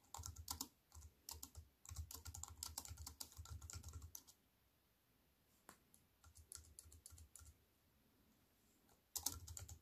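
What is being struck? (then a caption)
Aluminium-framed keyboard with plastic keys. Typing on a slim wireless keyboard with a silver aluminium frame and black plastic chiclet keys resting on a wooden table, pressed by fingertips with long white-painted nails. Bursts of quick, bright key clicks with a soft low thump under each press are broken by a quiet pause of scattered taps, then a final burst of typing.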